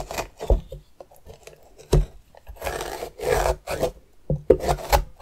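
The edge of a metal spoon scrapes and scratches along the ribbed outer skin of a medium orange pumpkin, which is hollowed and held on its side. Irregular, dry, raspy strokes are broken up by a few sharper knocks with a low thump, each dying away almost at once.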